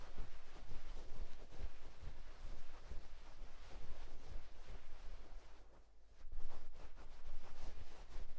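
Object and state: Nothing is struck.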